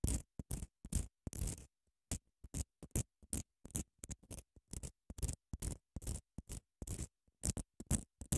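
Long nails scratch along the gritty edge and face of a long grey padded emery nail file held horizontally in both hands. The result is a quick, irregular series of short, dry scratching bursts separated by silent gaps. The bursts are broadband and low-weighted with a bright, rasping top and no ring.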